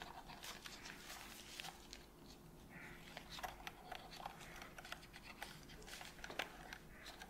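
A cotton swab scratches and rubs inside the gap around the black trigger of a hollow white plastic PS5 controller held in gloved hands. The result is a quiet, continuous run of soft brushing and many short, bright scratchy ticks over a faint steady low hum.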